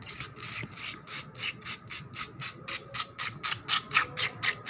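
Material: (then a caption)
Concrete. Long black nails and fingertips scratch fast across a solid, wet painted concrete floor with a puddle on it. Each stroke is a short, bright, hissy rasp that repeats in a quick, fairly steady rhythm of about four per second, with almost no low end.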